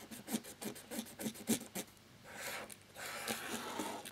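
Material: Plastic.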